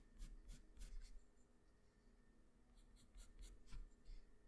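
A black wooden pencil held in the fingers draws with its graphite tip across a flat sheet of white drawing paper resting on a hard surface. Quick, bright scratching strokes come in two clusters, separated by a quieter stretch of soft, continuous scraping. A low hum sits underneath throughout.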